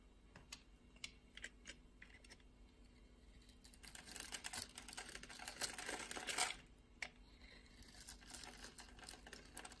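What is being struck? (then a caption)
Soap bar. A utility blade scores and scrapes the surface of a solid, hand-size blue soap bar held in the palm, shaving off flakes. Sharp, bright scratching clicks come at an irregular pace over a faint low hum. They swell into a denser, louder rasping stretch in the middle before thinning back to scattered scrapes.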